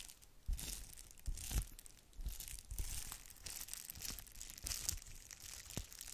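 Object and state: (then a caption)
Plastic bubble wrap. A thin red plastic bubble-wrap sheet is held in both hands while long nails scratch across it; then it is stretched and crinkled. The quiet, bright crackling and rustling comes in uneven bursts over low, soft thumps, with a few sharper snaps standing out.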